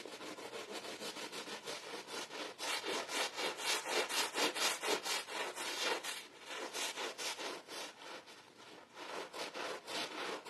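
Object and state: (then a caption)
Wet pile carpet being scrubbed. A green handheld bristle brush in a gloved hand scrubs a wet, foamy blue and red pile rug. Steady back-and-forth strokes, about two per second, make a bright, hissing, wet rasp with almost no low end. The scrubbing swells louder in the middle before easing slightly.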